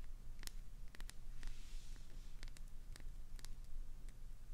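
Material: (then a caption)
Glycerin soap. Long pointed nails tap and scratch the faces and edges of a translucent green solid glycerin soap bar with a clownfish inside, held in the hands. Quiet, sharp, bright clicks land at irregular intervals over a low, steady hum. A brief soft, hissing scratch rises in the middle of the clip.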